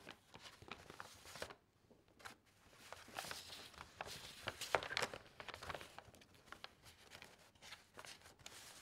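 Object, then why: Stack of glossy magazine paper pages. Fingertips and nails flip over thin sheets in a stack of loose glossy magazine recipe pages, making quick, irregular crinkling and rustling page-turning sounds. The crackles are bright with little low end, briefly quieting near the two-second mark before the turning resumes and peaks around five seconds.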